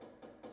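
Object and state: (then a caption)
Aluminium mirror trim strip, metal not wood. Three quick taps on a black aluminium trim strip around a bathroom mirror, which looks like it could be wood. Each tap gives a short, light metallic click with almost no ring. The strip sounds metallic rather than wooden, confirming it is aluminium.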